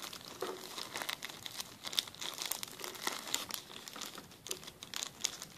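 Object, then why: Plastic zip-lock bag. A clear, empty plastic zip-lock bag is crumpled and rubbed with fingertips on a table. Dense, bright crinkling runs throughout, with quick crackles and sharper rustling bursts that have almost no low end. Each crackle stops instantly with no ring.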